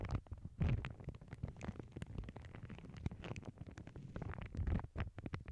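A thin lavender tissue paper sheet, folded over earbud mics on a cork board, is pinched and crinkled by fingertips with long nails. The result is a dense, muffled, low-heavy rustle of quick crackles, swelling louder near the start and again near the end.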